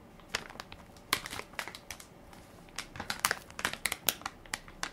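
A full, soft plastic-film baby wipes pack with a plastic lid is held in one hand while fingertips and nails crinkle and press its film top. Bursts of bright, crackly crinkling come in irregular clusters with short quiet gaps between them and almost no low end. Each crackle dies away almost instantly.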